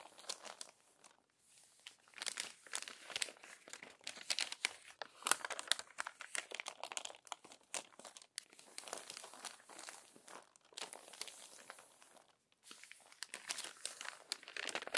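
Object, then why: Glossy paper magazine pages. Hands with long nails smooth out and turn the crinkled pages of an open glossy paper magazine. Dense, bright crinkling and rustling comes in bursts with no low rumble, broken by brief quiet gaps near the start and toward the end.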